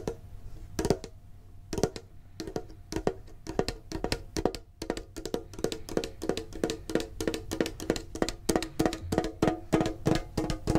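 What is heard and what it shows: A medium-sized hollow printed metal Pokemon card tin box is held and tapped with the fingertips and short nails. The taps are short and dry with a hollow, tonal midrange ring that dies away almost instantly. They come sparse and uneven at first, then in a faster, denser run.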